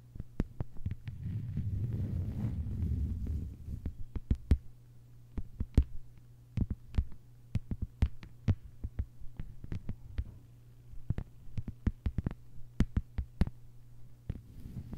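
Long white-polished nails on both hands tap quickly across a thin, solid, flat lime-green plastic cutting mat lying on a table. Dozens of sharp, short clicks that die away almost at once are heard, in irregular bursts over a steady low hum around 62 Hz. A soft low rumble sits under the first few seconds.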